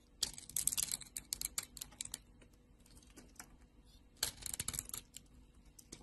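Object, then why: Solid soap bar shaved with a blade. A green solid soap bar with a purple layer, held in a hand with long glitter nails, is cut and shaved with a utility knife blade. Quick, bright, crisp scraping and crackling bursts come in two busy stretches with quieter, sparser clicks between them. The shaves are dry and short, with almost no low end and no ring after each stroke.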